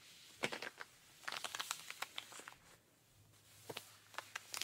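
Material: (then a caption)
Denim. A pink rubber-gloved hand scratches the denim fabric of jeans on a raised leg, working over the thigh and knee. Quiet, bright, crisp scratching strokes come in short clustered bursts with pauses between, and a faint low hum sits underneath in the second half.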